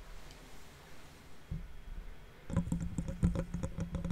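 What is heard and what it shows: Fingertips and nails of one hand scratch and tap the metal mesh grille of a large silver condenser microphone, hollow behind the mesh, close up. After a quiet, low rumbling stretch with a soft thump near the middle, a rapid run of sharp clicking taps begins, each with a boomy low resonance and short ring.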